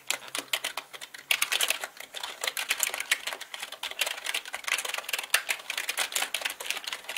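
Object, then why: Mechanical computer keyboard with plastic keycaps. Both hands type with their fingertips on a black mechanical keyboard with plastic keycaps, producing a rapid, steady stream of bright, crisp clacks. Each keystroke is short and sharp with almost no low end. A faint low tone sits underneath for the first second and a half.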